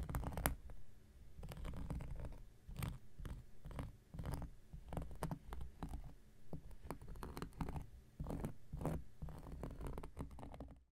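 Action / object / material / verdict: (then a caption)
scrape / cork coaster / cork / none. An X-Acto knife blade scratches and scrapes across a round, flat, solid cork coaster, producing a rapid series of short, dry scratching strokes with bright crackly edges. A steady low, muffled rumble sits beneath the quiet, close-up scraping throughout.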